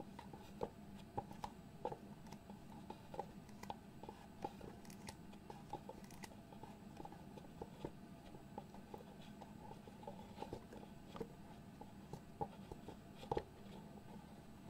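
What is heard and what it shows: Fingertips and nails scratch and tap the lid of a small, hollow white cardboard box. Soft, dry scratching runs throughout, broken by frequent short, sharp taps that die away almost at once. A steady low hum sits underneath, and the overall level is quiet.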